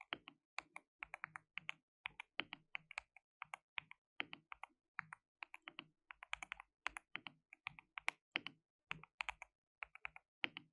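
Both hands type with their fingertips on a compact white plastic mechanical keyboard with pale keycaps and a hollow case, resting on a dark desk mat. About 59 quick, separate taps come in an uneven typing rhythm. Each tap is a bright, crisp clack centred in the upper mids that dies away almost instantly, with very little low end.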